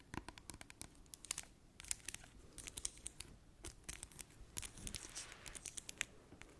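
Long acrylic nails tap and scratch a small, clear plastic Dettol hand sanitizer gel bottle with a green cap, filled with green gel. The result is a quick, irregular stream of sharp, dry clicks and scratchy, crinkly rasps, bright and crisp with almost no ring.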